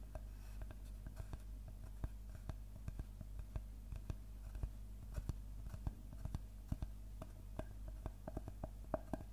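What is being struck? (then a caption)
Wooden tree-trunk slice. Fingertips and nails tap and scratch across the cut face of a large, round, solid-wood slice of tree trunk with its bark edge still on. Many short, dry clicks with almost no ring sound irregularly over a steady low hum, with faint scratching between them.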